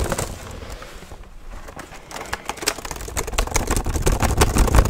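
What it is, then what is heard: Plastic laptop keyboard. Both hands type fast with their fingertips on a black plastic HP laptop keyboard, producing rapid, uneven clicks and dull low thuds. The tapping eases slightly in the middle, then grows louder and denser toward the end.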